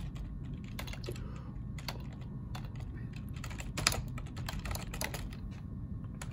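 Fingertips type on a black plastic ergonomic split keyboard resting on a wooden desk. Quick, dry keystroke clicks are heard, with bright tops over a steady low background rumble.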